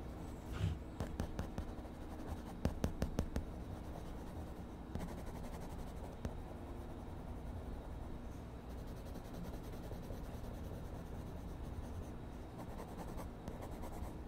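An orange colored pencil is rubbed in short strokes across the page of a spiral-bound paper sketchbook lying flat, shading a drawing while the other hand holds the pad. Quiet, soft, low-heavy scratching is heard, with a burst of sharper strokes near the start, then a steady, even rasp that continues to the end.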